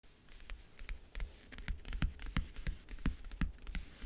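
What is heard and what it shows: Long, dark-painted nails tap and scratch the lid of a closed, hollow, rectangular backgammon case covered in a world-map print with metal clasps, resting on a blanket. The taps are quick, dry and muffled, with a dull low thud under bright clicking tips. They come in an uneven rhythm of about three per second, with soft scratching between them and almost no ring.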